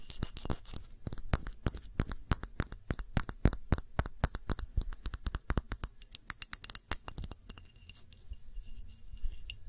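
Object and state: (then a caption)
Glass candle jar. Long nails tap the rim and sides of a clear glass tumbler holding a red wax candle, making a rapid, irregular run of sharp, bright clicks. Each tap dies away almost at once, with a faint high glassy ring lingering in the quieter stretch near the end.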